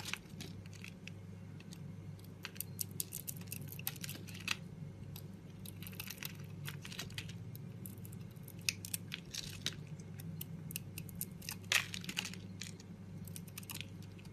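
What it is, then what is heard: Bar soap shaved with a blade. A utility-knife blade scrapes and shaves a solid, palm-sized oval bar of soap, with a red moulded outer layer and green core, held in the hand, cutting it into flakes. Many short, bright, crisp scraping and crunching ticks come in quick irregular bursts over a steady low hum.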